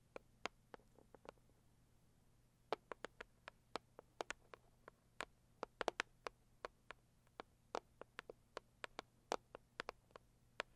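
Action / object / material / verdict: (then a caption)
tap / cardboard gift box / cardboard / none. Long acrylic nails tap and scratch the lid of a closed, hollow, medium-size pink floral Saviland cardboard gift box. About three dozen quiet, sharp, bright clicks come in irregular bursts with near-silent gaps between them. Each tap dies away almost instantly, with no ring.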